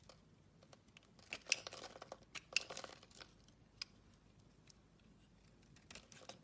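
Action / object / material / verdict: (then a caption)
scrape / solid bar of soap cut with a blade / soap / none. An oval, solid blue marbled soap bar held in the palm is shaved into curls with a utility knife blade. Eleven quiet, crisp scraping strokes come at an uneven pace, with bright, papery crinkling between them and almost no low end. Each stroke is short and dry, fading almost at once.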